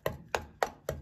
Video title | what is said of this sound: РЕМОНТ В УБИТОЙ КВАРТИРЕ № 6💜🛠 Блеск и нищета💥 Качество БЕЛОРУСКОЙ ПЛИТКИ😱 🤮 | когда стучишь по ней то какой-то глухой звук как будто она внутри полая